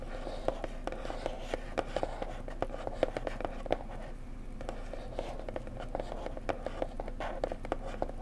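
A small square printed cardboard gift box with a blue floral design, made for a bone china mug and likely holding the mug, is held by its sides and tapped gently with long nails and fingertips. The soft, quick taps come in a steady, irregular patter with a hollow papery knock around 520 Hz that dies away almost at once, over a low steady hum.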